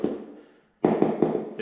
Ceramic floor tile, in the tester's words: this whole area is hollow